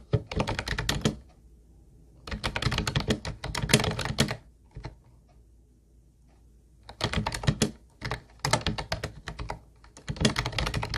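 Both hands type with their fingertips on a teal plastic Ubotie keyboard with round white plastic keys and a hollow build. Rapid bursts of clacky keystrokes sound with a hollow, low thock under bright clicks. Quiet pauses fall between the bursts.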